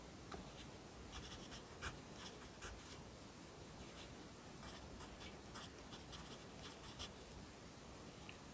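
A yellow wooden pencil held in the fingers writes across the page of an open lined paper notebook lying flat on a desk. Graphite scratches on the paper in a quiet, steady stream of soft strokes with brief bright accents, over a low background hum.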